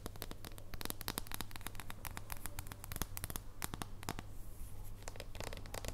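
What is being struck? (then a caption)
Thin dark chocolate bar. Long nails scratch and tap the face and edge of a thin, solid dark chocolate bar held in both hands. A rapid, dense stream of short, dry clicks and scratches plays over a steady low hum, with each tap dying away almost instantly.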